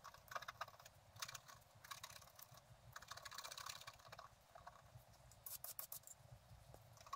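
A flat, black-coated scratch-art card about A4 size lies on a table, held with the left hand while a pointed wooden stylus in the right hand scrapes across it. The result is quiet, dry, bright scratching in short bursts of quick strokes with brief pauses between them, over a faint low background hum.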